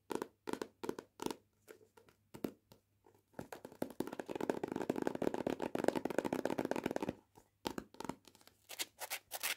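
A paperback copy of "Cuts Both Ways", held in the hand, has its page edges and card cover scratched with long painted nails. Short, dry scratching strokes come in quick bursts, then build into a dense, continuous rasping run through the middle. It breaks back into separate bright strokes at the end.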